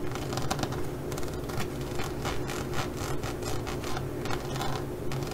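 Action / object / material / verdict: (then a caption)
scrape / studded faux leather pouch / faux leather / none. A flat green zippered faux leather pouch with a glossy molded pyramid-stud surface is scratched with long glitter-polished nails across the studs. The result is a steady stream of dry, bright scratching bursts over a constant low hum, repeating at an uneven pace.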